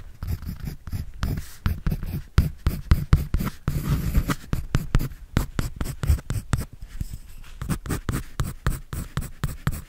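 A pencil scratches and draws on a white paper sketch pad held by hand. Rapid, dull, papery strokes follow one another closely for the whole clip, mostly low and muffled with only a faint bright scratch on top.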